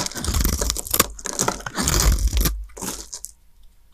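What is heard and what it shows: A small blade scrapes and cuts thin shavings off the surface of a solid, pale green, palm-sized dry soap bar held in the hands, with the shavings piling up nearby. Dense, crunchy, tearing scrapes with a deep low rumble and bright crackle fill the first two and a half seconds. The sound then thins to faint scratches and ends with a sharp crisp snap.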